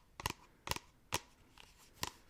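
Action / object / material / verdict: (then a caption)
tap / plastic shampoo bottle / plastic / none. An organic shampoo bottle used every day is tapped for ASMR, giving five short, crisp taps with a bright click around 1 kHz. Each tap dies out almost at once over a quiet background.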